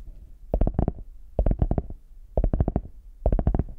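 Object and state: Faux leather hard shell case.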